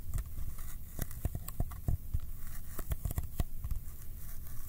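Fingertips tap on the flat faces of a small, hollow Kodak ColorPlus cardboard film box held up in the air, sticking to it as they land and pull away. A rapid run of soft, low, hollow thuds comes with faint sticky crackles and peeling clicks. Each tap dies away almost at once.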